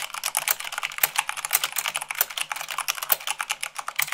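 Fast two-handed typing with fingertips and long nails on white plastic keycaps of a black plastic mechanical keyboard. A rapid, continuous stream of sharp, bright clicks and clacks with very short decay, with a few louder strikes standing out.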